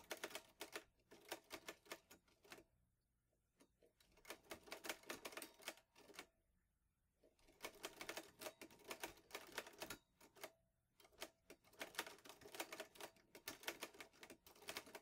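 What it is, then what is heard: Metal manual typewriter. Fingertips type on the keys of a green metal Olivetti Lettera 22 portable manual typewriter. Rapid runs of sharp, bright clacks come in bursts, separated by brief quiet pauses. Each keystroke stops almost instantly, with very little low end.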